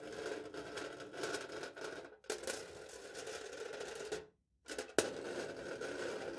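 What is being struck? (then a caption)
Aluminium foil stretched over a plastic cup. The tip of a knife blade scratches and drags across aluminium foil stretched over a hollow plastic cup held in the hand. It makes a steady, scratchy rasp with a thin ringing tone. The sound breaks off briefly twice, and a sharp tick sounds just before the scraping resumes.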